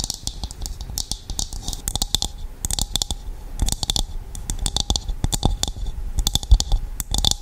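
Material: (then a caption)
Coconut shell. A hollow, empty, hand-sized dried coconut shell half is held over the mic and tapped and scratched on its outer surface with long acrylic nails. A rapid, uneven stream of sharp clicking taps and scratchy strokes sounds, each with a dry low thump and a bright high click that dies away almost instantly.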